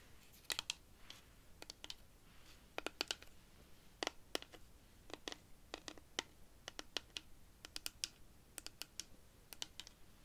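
Long pink nails tap and scratch along the ridged surface of a large, hollow rainstick made of dried cactus wood, which has a colored yarn band at one end. Dozens of sharp, dry, bright clicks land in quick, irregular bursts, each dying away instantly over a faint hiss.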